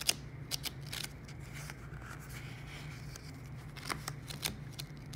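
A glossy paper magazine lies on a wooden table while fingertips and nails rub and scratch its cover and a hand handles and lifts the pages. Sharp, bright crinkles and scratches rise over a steady low hum, with several louder transient clicks standing out.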